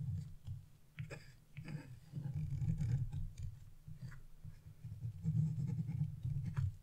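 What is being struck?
Coated scratch-art paper scraped with a chisel.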